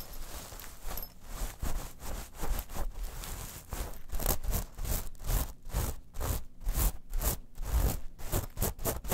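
Long nails scratch a small textured, rhinestone metal mesh clutch pouch, first while it is held and then as it lies flat. The result is a run of dry, rasping scrape strokes in quick rhythmic bursts that grow louder and more distinct in the second half.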